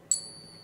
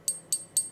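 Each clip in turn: First: One flick draws a bright, high ping whose thin overtones keep ringing steadily, as genuine silver should. Second: Three quick, high clicks that die almost at once: a fake silver coin with a dull, short ping.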